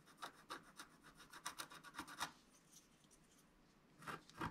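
A wooden stylus scratches along the lower edge of a flat coated scratch-art sheet in a run of short, dry, bright rasping strokes. The strokes stop and leave near silence, then two louder strokes come at the end.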